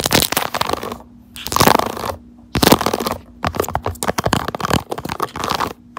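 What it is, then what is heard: Silicone phone case scratched and tapped. Long neon acrylic nails tap and scratch the raised keyboard-key squares of a pink soft silicone keyboard-style case on a smartphone held in a clamp, with a small pink charm hanging at the bottom. Quick bursts of dry, crisp scratching and rapid tapping come in clusters separated by short quiet gaps, over a faint steady low hum.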